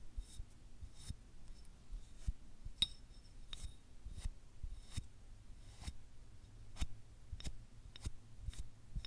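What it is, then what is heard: Selenite crystal wand. Fingernails scratch and tap along a small, solid white selenite crystal wand held close to the mic. Quiet scraping is broken by sharp, short taps with bright, high clicks over a low background rumble, each dying away almost instantly.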